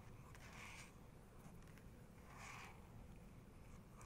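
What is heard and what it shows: Long nails tap and scratch across a printed photo on the glossy paper page of an open photography book. Quiet, bright swishing strokes rise and fade over a steady low rumble. A few faint taps sit between the scrapes.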